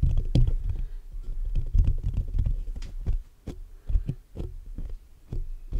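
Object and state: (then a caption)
Metal mesh microphone grille being tapped and scratched. Fingertips of both hands rapidly tap and scratch the black metal mesh grille of a large hollow condenser microphone. The result is a dense run of deep, boomy thumps with a low rumble underneath, each tap dying away almost instantly, and brief faint bright clicks and scratchy rustle between them.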